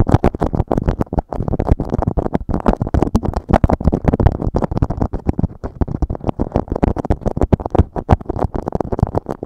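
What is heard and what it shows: A beeswax-coated cotton food wrap sheet laid over a microphone is rubbed, scratched and crinkled by fingertips. The result is a steady stream of dense, rapid crackles and scrapes with a muffled, low-heavy tone and almost no bright highs. Each crackle is short and dry, with no ring.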